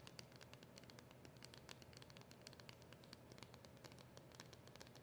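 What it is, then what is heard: Cardboard packet tapped with fingernails. Long acrylic nails tap and scratch the front of a small, flat, dark cardboard polishing cloth packet with a round label, held up close. A quiet, steady stream of quick, dry clicks and papery scratches, with bright ticks over a soft low rumble.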